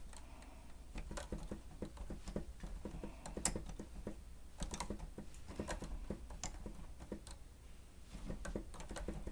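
Fingertips of both hands press and tap the keys of a grey plastic stenotype keyboard with a hollow housing. Quick, dry clicks and soft taps patter unevenly over a steady low hum, with brief bright ticks rising above it and dying away almost at once.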